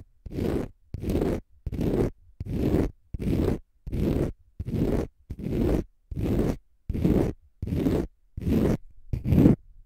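A palm-sized, solid, porous pale-green dry konjac sponge is scratched with short fingernails in fast strokes. Thirteen evenly spaced rough, scratchy bursts each last about half a second, with a dense low rumble and a faint bright hiss above, separated by short silences.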